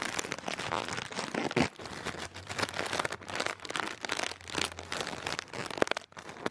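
A clear, thin plastic air cushion packaging lying on a bedspread is crinkled and pressed with one hand. Dense, bright crinkling and crackling runs throughout, with sharper louder pops around 1.6 and 5.8 seconds and a faint low hum underneath in the middle.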